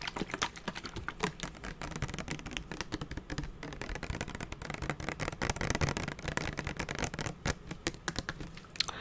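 Fingernails tap along the body of a hollow, purple translucent plastic spray bottle with a trigger head. The result is a rapid, continuous patter of short, dry clicks with almost no ring.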